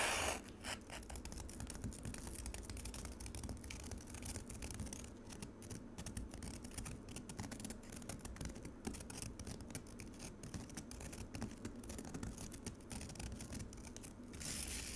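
Long acrylic nails on both hands rapidly scratch a white plastic container of frosty frozen pomegranate juice. The result is a dense, continuous run of quick, dry rasping strokes with a low rumbling undertone and bright, gritty scrapes on top.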